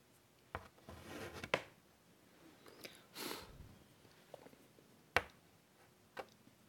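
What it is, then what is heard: Chalk on a chalkboard. White chalk held in the fingers scratches and draws lines on the dark surface of a large wooden-framed chalkboard lying flat. Quiet, breathy scraping strokes alternate with sharp, bright chalk taps that die away almost instantly over a faint hiss.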